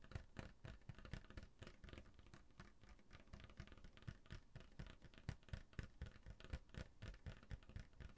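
A full brown glass Coca-Cola bottle with a label, held in one hand, is tapped and scratched on the label and the glass with the fingernails. The result is a quick, uneven run of soft, dull taps mixed with light scratching, mostly low in tone with very short decays.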